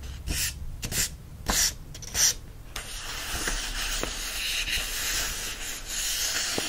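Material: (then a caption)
Paper. Fingertips rub the paper pages of an open yellow paperback book, then lift and flip them. Bright, airy paper swishes come in separate bursts over the first few seconds, followed by a steady, hissy rubbing texture with faint crisp ticks.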